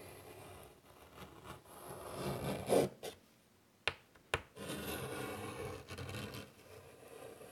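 A hand draws a curvy outline in chalk on a large, flat black chalkboard in a light wood frame lying on a table, scraping the chalk along the board. Gritty, uneven scraping and rubbing strokes swell and fade, then stop for a near-silent pause. Two sharp chalk taps follow before the scraping resumes at a steady, softer level.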